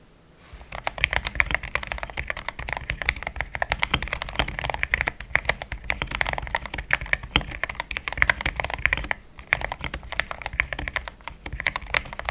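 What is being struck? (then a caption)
Mechanical keyboard with plastic keycaps. Fingertips type in steady taps on a pink-framed compact mechanical keyboard with thick cream XDA plastic keycaps, a polycarbonate plate, linear switches and a hollow case. After a brief silence, a fast, continuous run of short, crisp clacks begins, each with a bright top and a soft, low hollow thud underneath. The clacks die away instantly, and a short lull near the nine-second mark interrupts the typing.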